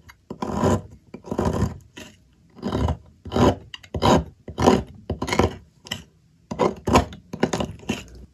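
A metal blade scrapes shavings off the remaining piece of a solid white bar of soap held by hand. Rough, rasping strokes repeat at an uneven pace, each a short burst of broadband scraping from low thuds up to bright hiss, separated by brief quiet gaps.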